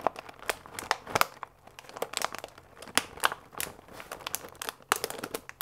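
A full paper fusilli bag with a plastic window is held upright and squeezed and crinkled with fingertips and nails. The result is a steady run of dry, papery crinkles and sharp crackling snaps with bright high edges and almost no low end.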